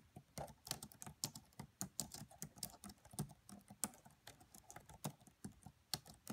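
Both hands type with fingertips and long French-manicured nails on the black plastic chiclet keys of a red laptop with a hollow body. About 25 quiet, quick taps land in an uneven rhythm, each a bright click with a soft low thump beneath it. Every tap dies away almost instantly.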